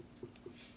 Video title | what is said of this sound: Adding a foot | tap it and listen in here that kind of lets you know how thick certain areas are